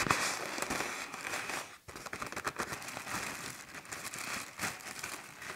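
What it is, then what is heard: Plastic garbage bag. A large black plastic trash bag, filled with air and tied at the top, is tapped and scratched with fingertips and nails across its taut film. The result is continuous bright crinkling and crackling pops with little low end, briefly dropping near quiet just before the two-second mark before resuming.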